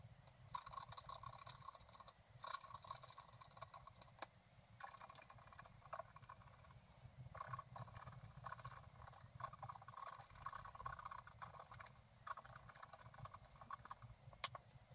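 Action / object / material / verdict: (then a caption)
scrape / scratch art paper card scraped with a wooden stylus / coated paper / none. A wooden stylus scratches across a flat, black-coated scratch art paper card resting on a table, while the other hand holds the card's edge, to scrape out a picture of a bicycle in a flowering meadow. Quiet, dry scraping strokes come in quick, uneven bursts, with a faint scratchy tone near 1 kHz, brighter hiss, and a soft low rumble underneath. Each stroke stops almost at once, with no ring.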